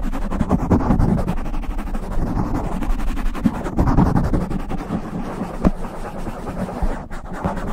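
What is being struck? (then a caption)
Foam microphone windscreen. Both hands rub and scratch a black foam windscreen on a silver microphone with fingertips and long nails. The result is a continuous, muffled, low rumbling rustle, with dense scratchy crackle and occasional sharper thumps standing out against the steady friction.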